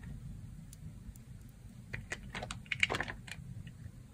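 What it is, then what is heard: Dry soap bar being carved. A red box-cutter blade shaves and carves thin curls off a thin, solid, dry beige soap slab with dark specks, held in fingers with long red nails. Short, crisp scraping cuts crackle brightly in a quick cluster over a steady low rumble, with no ringing after each stroke.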